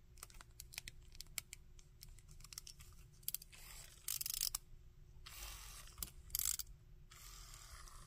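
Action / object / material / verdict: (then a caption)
tap / hard plastic jointed action figure / plastic / none. Fingertips and nails handle a small hard plastic Shocker action figure with a textured brown and orange body, silver gauntlets and hollow-ish molded limbs, tapping it and moving its jointed arms and legs. Quiet, sharp, bright clicks and taps come in quick scattered bursts, with a few longer, louder, hissy scraping rustles in between.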